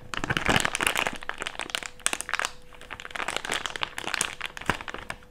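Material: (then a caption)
Plastic. A small crumpled wad of empty thick clear plastic bag is rubbed and squeezed between fingers, producing dense, bright crinkling and crackling that swells and fades in bursts. A faint steady hum runs underneath.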